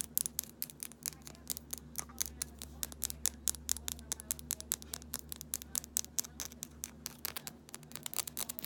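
Long nails tap quickly on a small amber glass rosehip oil bottle with a paper label and a black plastic dropper cap, striking both the labeled glass body and the dropper cap while the bottle is held. The result is a rapid, uneven patter of sharp, bright clicks that die away instantly, over a faint, steady low hum.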